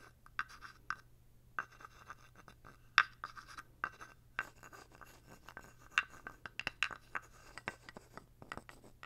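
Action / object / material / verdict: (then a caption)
scrape / carved wooden toad figurine with stick / wood / none. A thin wooden stick is scraped and tapped along the ridged back of a small, dark, carved wooden toad figurine held close to the mic. Quiet, dry, ratchety scrapes alternate with sharp, bright wooden clicks at an irregular pace. Each click dies away almost instantly over a faint low hum.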